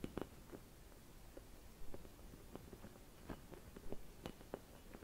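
Fingertips with long red nails scratch and tap a hollow, empty clear glass Christmas bauble decorated with white painted swirls. Soft, quiet taps and faint scratches come at irregular intervals over a low, muffled background. Each tap gives a brief, dull glassy tick that fades almost instantly.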